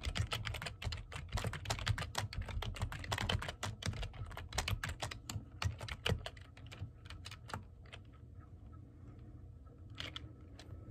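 Both hands type quickly with fingertips and medium-length painted nails on a black plastic computer keyboard with hollow keys. The result is a dense run of sharp, bright clacks over a low, hollow thud. The typing thins into scattered taps during the last few seconds.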